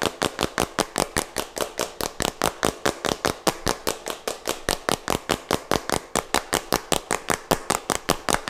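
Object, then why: Small plastic jar with plastic cap. Fingertips and nails tap and scratch close to the mic on a small plastic jar with a white plastic cap, touching both the cap and the body. About 43 short, dry, bright clicks come in a quick, uneven rhythm over a soft scratchy rustle, each hit dying away almost at once.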